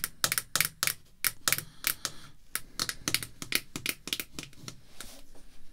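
Red artificial nail tips tap on a small, solid, clear acrylic screw-down card holder containing a baseball card, which is then tilted up by hand. The result is a rapid, uneven run of sharp, bright clicks with almost no ring, similar to typewriter keys.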